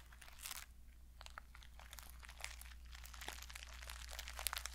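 Long painted fingernails scratch and brush across a small, flat mermaid-style pouch covered in reversible pink, purple and silver plastic sequins, held in both hands, flipping the sequins. The result is quiet, irregular bursts of crisp, bright crinkling and clicking over a steady low hum.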